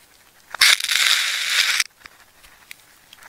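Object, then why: Wound plastic tape ball. A metal craft knife cuts into a solid, wound ball of red, yellow and black layered plastic tape and peels the layers back while fingers hold the ball. A sharp click opens a loud, bright, crackling tear that lasts just over a second before stopping abruptly. A few faint scratches follow.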